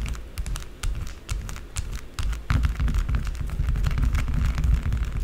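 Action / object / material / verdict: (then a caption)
scrape / bar of soap / soap / none. Long blue acrylic nails tap and scratch quickly on a small solid rectangular white bar of soap with embossed lettering, lying on a dark table. The result is a rapid, uneven stream of short, dry clicks and scrapes with a dull low thump under bright, crisp edges, growing louder and denser about halfway through.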